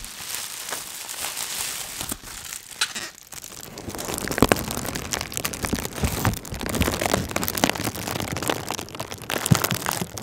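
A light, air-filled sheet of clear plastic bubble wrap is held near the microphone and rubbed and crinkled with the fingers. This makes a dense, steady crackling and crinkling with a bright hiss, dotted with short, sharp snaps that fade almost at once.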